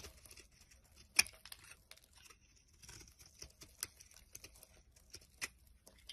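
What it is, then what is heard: Bar soap being scraped. A small flat blade shaves and scrapes the surface of a solid rectangular yellow Smyrna bar soap held in the palm, breaking it into crumbly flakes. Quiet, bright, crackly scraping runs throughout, with short crisp ticks and one sharper snap near the start.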